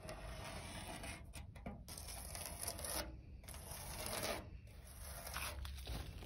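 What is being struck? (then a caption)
Rusted steel sheet. Long pointed red nails scratch and tap the rough surface of a large, flat rusted steel sheet lying outdoors with a leaf on it. The result is a steady, gritty scraping texture with light taps mixed in, a broad rasp that runs from low rumble up to bright hiss. Brief quieter gaps break it up between strokes.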